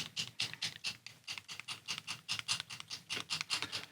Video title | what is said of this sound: Looking At A Kickstarter: Two Thin Coats Wave 3 | you can hear there's a mixing ball in there